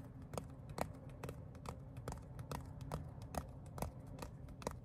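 Fingertips tap and scratch the pebbled surface of a flat, palm-sized black textured leather phone case. Soft, quick taps come in a steady but uneven run, about two per second, each a short dry click with a bright edge. A low, rough scratching rustle runs underneath between the taps.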